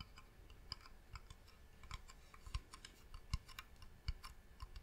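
Long nails tap on the top and side of a medium, hollow, varnished wooden box. The result is a quiet, uneven series of short, dry clicks, each with a bright tick over a soft low thump that dies away almost instantly.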